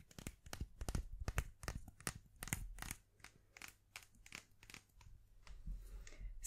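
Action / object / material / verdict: tap / wooden pencil / wood / none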